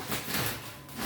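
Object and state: Nothing is struck.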